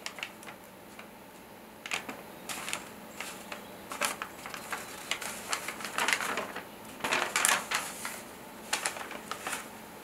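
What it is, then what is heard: Paper letter sheet. A single thin handwritten paper letter, held in both hands, is unfolded and flexed. It gives off irregular bursts of bright, crisp rustling and crinkling over a soft, quiet background, with a denser cluster of crackles near the middle and end.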